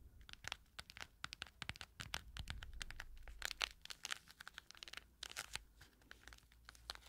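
Long acrylic nails tap and scratch the quilted, padded lid of a small, round, hollow cushion makeup compact that is closed and has a metal CD logo. Rapid, bright, dry clicks and crinkly scratches sound over a faint low hum, with a denser, steadier scratching stretch in the middle. Each tap stops almost at once with no ring.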